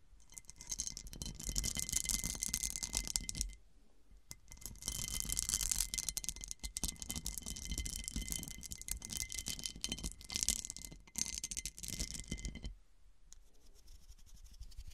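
Long dark acrylic nails scratch and tap across the faceted star pattern of a large, round, textured cut-crystal glass serving dish turned upside down and hollow on a table. Dense, bright, scratchy rattling carries thin steady ringing tones, breaking off briefly near four seconds. It ends in a quieter, sparser stretch of scratching.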